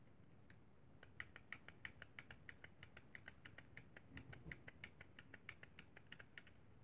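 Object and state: Plastic game controller.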